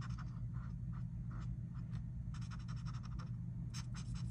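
A felt-tip marker makes repeated short scratching strokes near the edge of a mandala on a flat paper coloring book page lying on a table, with the other hand resting on the page. Brief, bright scratchy bursts of the tip on paper sit over a steady, dominant low hum.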